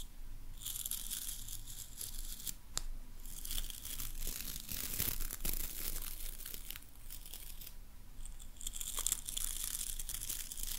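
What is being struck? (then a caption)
Hairbrush with boar bristles and wooden handle. Long nails scratch through the boar bristles of a hairbrush with a wooden handle. They make a dry, bristly crackling with bright, hissy bursts over a faint low rumble, rising and falling in waves of scratching strokes.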